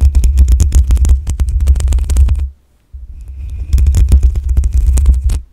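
Long acrylic nails scratch the black metal mesh grille on the hollow head of a desktop condenser microphone. The result is a dense, rapid scratching with a heavy, booming low rumble and bright crackling ticks on top. The scratching stops for a brief silent moment just past the middle, then starts again quietly and builds back to full loudness.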